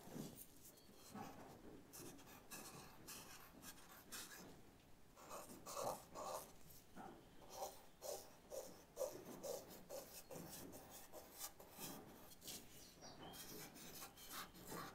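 A thin black charcoal stick, held in the fingers, is rubbed and scratched across a white paper sketchbook lying flat on a cloth-covered table while shading a leaf drawing. Quiet, dry, scratchy strokes repeat at an uneven pace, with a bright rasping hiss and brief low thumps as the stick moves back and forth.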